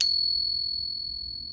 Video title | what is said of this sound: How to Authenticate Your Silver - David Cross Silver Market Briefing Part 2 | is 90% silver, 10% copper. And it kind of rings a little bit like a bell